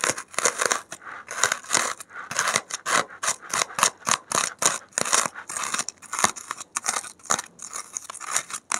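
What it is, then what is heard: Polystyrene foam block being scratched. A gloved hand digs a safety pin into a white expanded polystyrene (thermocol) foam block, scratching out foam beads that pile up on the surface. Quick, uneven bursts of bright, crackly scraping and squeaky scratching follow one another with brief gaps, with almost no low end.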